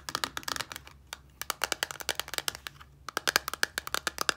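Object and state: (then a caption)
Plastic bottle tapped with nails. Long nails tap and scratch the sides of a small clear plastic micellar water bottle, partly filled with liquid and wrapped in a paper label. The result is a quick, uneven run of sharp, dry clicks with a bright, crisp edge and a faint tone around 1.6 kHz, broken by short pauses.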